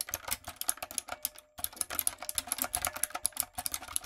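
A retro, typewriter-style mechanical keyboard with round plastic keycaps and lights is typed on with fingertips and long nails. It gives a quick, steady run of bright, sharp clacks with very short decay, and a brief pause about halfway through. The overall sound is crisp and high, with little low end.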